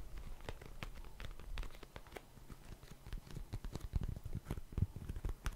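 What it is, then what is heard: Cardboard tissue box. Fingernails tap and scratch a small, hollow, printed Cheeky Panda cardboard tissue box. Many quick, dry taps with very short decay mix with soft scratching, most of the energy a low, hollow thump. The taps grow denser and louder toward the end.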